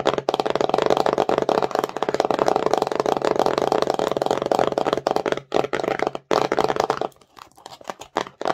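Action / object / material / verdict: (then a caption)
scrape / small printed cardboard box / cardboard / none. Long nails rapidly tap and scratch the faces of a small, empty, glossy printed cardboard slime box held in the hands. The hollow box gives a dense, papery clatter of quick taps and scrapes centered in the midrange, broken by brief pauses. It thins to sparser, quieter taps near the end.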